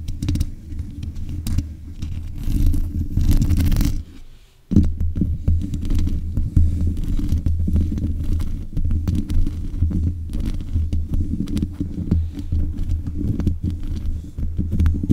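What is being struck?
Metal mesh microphone grille.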